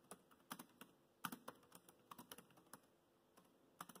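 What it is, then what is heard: Plastic laptop keyboard. Fingertips type on the black plastic chiclet keys of a dark grey laptop, making about 15 quick, light clicks and taps at an uneven pace. Each click is short and crisp, centered around 1.2 kHz with some bright high edges, and fades almost at once against a quiet background.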